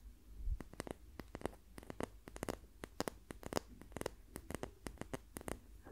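A wooden ruler is tapped repeatedly in quick, irregular bursts, giving short, dry clicks with almost no ring and a low, soft body. The ruler is confirmed to be wood, not plastic.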